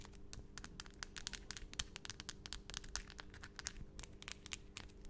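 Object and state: Long acrylic nails tapping together.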